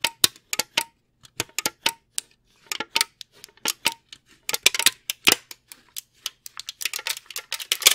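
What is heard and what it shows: A brown plastic candy tray with cavities is held in both hands and tapped and flexed with the fingers. It gives dozens of sharp, dry clicks and crinkly crackles that are bright and high-pitched, with almost no low end. They come in irregular bursts that grow denser toward the end, and each snap dies away instantly.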